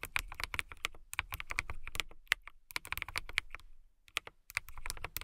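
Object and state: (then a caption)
Mechanical keyboard with clear plastic keycaps. Fingertips with long nails type fast on a transparent acrylic mechanical keyboard with clear plastic keycaps and RGB lighting. Rapid, bright, sharp clicks and clacks come in quick bursts. A brief pause near the middle and a longer one toward the end separate the bursts, and each keystroke stops dead with no ring.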